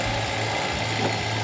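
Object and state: Nothing is struck.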